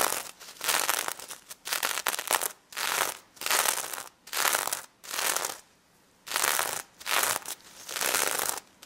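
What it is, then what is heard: Sequin-covered plush toy being scratched. Long red nails scratch across the gold sequins of a plush pig head with a glittery fabric snout, producing about ten bursts of bright, crackly rasping separated by short quiet gaps. The scratching is dry and hissy with no low end, and each burst stops cleanly without ringing.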